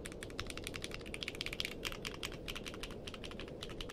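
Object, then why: Mechanical keyboard with plastic keycaps. Fingertips type quickly on a compact mechanical keyboard with a purple case and white and dark plastic keycaps. They make a steady run of sharp, bright clicks centred near 3 kHz, each dying away almost at once. A soft, constant low hiss lies underneath.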